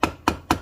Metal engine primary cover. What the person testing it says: at this point we've got it loose it's about ready to come off